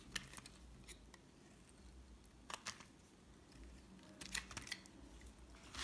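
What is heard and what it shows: A red-handled metal utility knife scrapes a solid white bar of soap held in the hand, peeling it into long curls. Quiet, dry scraping and scratching is punctuated by sharp, bright clicks and short crisp bursts that die away instantly, over a faint low background hum.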